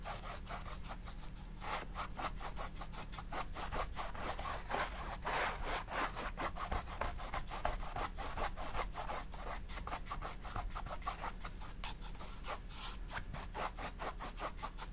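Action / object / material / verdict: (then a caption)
scrape / stretched cotton painting canvas / cotton canvas / none. A flat bristle paintbrush loaded with black oil paint is scrubbed back and forth across a large white stretched cotton canvas on a wooden frame, lying flat on a table. Quick, steady rubbing strokes make a dry, scratchy rasp that repeats in a fast, even rhythm over a constant low hum.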